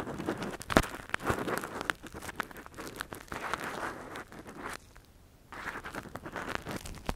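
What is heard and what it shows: A gloved hand scratches inside the hollow canal of a soft, translucent silicone ear model that covers a binaural microphone, using a thin metal earpick. Close, crinkly scraping and rustling comes in quick bursts with sharp crackles, then drops to near silence for about half a second before the scratching resumes.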